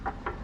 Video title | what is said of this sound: CFMOTO 675SR-R Review – Sound, Build & Details! (2025) | This is the gas tank. It's metal.